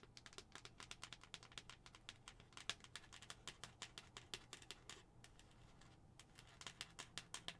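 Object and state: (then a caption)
Plastic skull cup. Long acrylic nails tap and scratch a hollow white plastic skull-shaped cup with a pink plastic lid. Rapid, bright, dry clicks come in quick runs with very short decay, over a faint low hum, with a brief lull just after the midpoint before the tapping picks up again.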